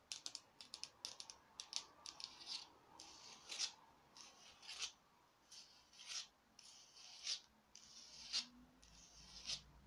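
Long nails tap and scratch along the ribs of a small glittery orange foam or plastic craft pumpkin held up in the air. Quick, dry, bright clicks and scraping rasps come in irregular bursts. They are soft and crisp, with no low end or ring.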